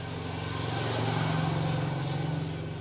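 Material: Nothing is struck.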